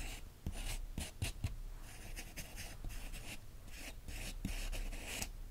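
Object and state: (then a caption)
Pen scratching over a glossy magazine page. A capped green pen traces and scratches lightly over the printed photos on the thin glossy paper pages of an open magazine. Bursts of bright, dry scratching and rubbing come in uneven strokes, with a few soft low taps where the pen meets the page.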